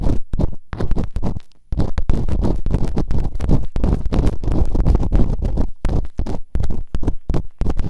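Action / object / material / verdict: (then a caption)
scrape / silicone ear microphone scraped with bamboo picks / silicone / none. Bamboo earpicks, held in fingertips with long nails, scratch and rub quickly inside both open ear canals of a white binaural microphone's soft, solid, rubbery silicone ear models. The result is a dense, muffled, low-pitched scraping and thumping, broken by short pauses, with almost no bright content.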